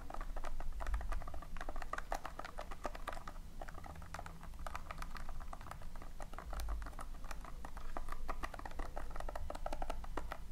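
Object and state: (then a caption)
Loose polystyrene foam beads in a tin. Long nails scratch and rake repeatedly through a tin full of loose, small polystyrene foam beads. The result is a dense, steady stream of short, dry crackling clicks and rustles over a low, muffled rumble, with no ring after each tick.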